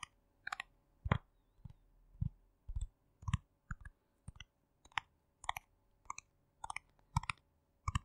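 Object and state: Plastic jar tapped with fingernails.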